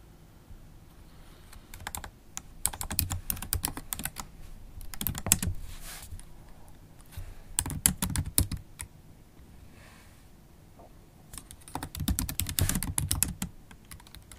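Long acrylic nails type on the black plastic keys of a MacBook Pro laptop keyboard. Bursts of quick, sharp clicking come in three main flurries with quieter pauses between them; each tap is short and dry with bright edges over a soft low thud.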